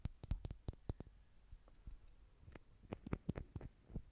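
A small stack of clear plastic jars filled with gold glitter is held in one hand and tapped with long nails from the other. Twelve sharp, dry, bright clicks die away almost instantly: a quick run in the first second, a quieter gap, then another cluster near the end.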